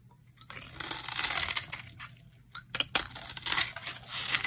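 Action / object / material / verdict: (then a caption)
scrape / bar of soap shaved with a blade / soap / none. A utility knife blade shaves curly flakes off a solid, hand-sized, dry green bar of soap held in the hand. The clip is a bright, crisp scraping and crackling, with two main bursts of shaving separated by a brief quieter pause.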